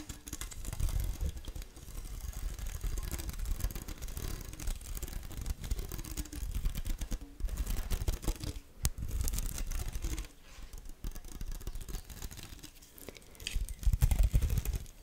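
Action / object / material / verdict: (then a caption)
scrape / badminton racket with synthetic string mesh / synthetic string / none. Long acrylic nails scratch and tap across the synthetic string mesh of a badminton racket head with a metal frame, right next to the microphone. A close, continuous stream of quick, irregular scratches and taps, heavy with low thumping body, with a louder burst of scratching near the end.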